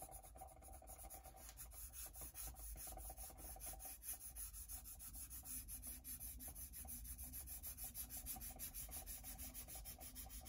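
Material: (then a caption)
Rubber. A pencil tip is scratched and rubbed across the surface of a solid white rubber printmaking block resting on a wooden table, shading a drawing. A steady stream of quick, dry scratching strokes rasps on continuously over a low background rumble, with bright hiss in the highs.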